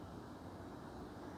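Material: Nothing is struck.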